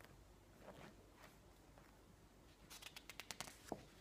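Fingertips softly rub across the surface of a thick glossy paper magazine lying open on a table, making a faint, hushed swishing for the first couple of seconds. A page is then lifted and turned, giving a quick run of about nine sharp, bright paper crackles and rustles that ends with a slightly louder snap.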